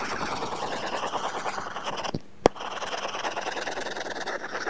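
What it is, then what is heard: Stylus scratching a tablet screen with matte paper-feel film. A stylus scratches back and forth in shading strokes across an iPad glass screen fitted with a matte, paper-feel plastic film, making a steady, dry, papery scraping. Near the middle the strokes stop briefly, followed by a single sharp tap, and then the scratchy shading resumes.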